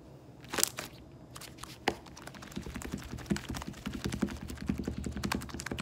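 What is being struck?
Slime blob.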